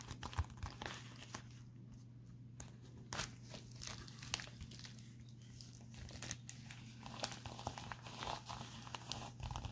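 A pink metallic foil bubble envelope is held up and scratched and crinkled with fingertips and short nails. Dry, crackling crinkles and sharp scratchy taps come in irregular bursts over a steady low hum. Each crackle is bright and dies away at once.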